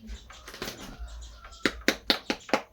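A durian fruit is knocked to judge its ripeness, giving a quick series of short, sharp, dry knocks with little ring after faint murmuring. The fruit is judged ripe, very ripe.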